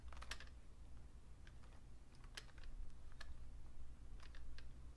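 Slow fingertip key presses on a vintage beige Fujitsu Siemens full-size plastic keyboard with a hollow case produce sparse, short, bright typing taps. A steady low hum sits underneath throughout.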